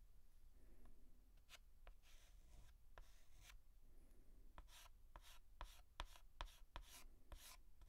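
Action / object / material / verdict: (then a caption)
scrape / chalk stick on slate blackboard / chalk / none. A white chalk stick held in the fingertips is scratched and stroked across a large flat blackboard while writing a letter outline. Soft, bright scratching strokes come in bursts, with sharp, quick taps and clicks as the chalk meets the board, all at a quiet level.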